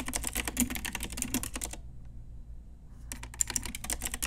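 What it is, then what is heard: Plastic mechanical keyboard. A full-size pink Ajazz typewriter-style retro mechanical keyboard, with round plastic keycaps on a hollow plastic case, is typed on with long nails and fingertips. Rapid, bright plastic clicks and clacks run in quick bursts over a steady low hum. The typing stops for about a second in the middle, then resumes.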